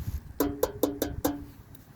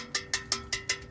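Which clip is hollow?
The first.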